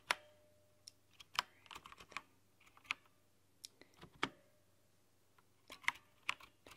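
Long painted nails type on a plastic backlit mechanical keyboard with plastic keycaps and a red-to-pink backlight. Sharp, bright clicks come in irregular bursts with short quiet gaps between them, and each tap dies away almost at once.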